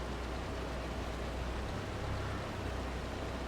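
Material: Nothing is struck.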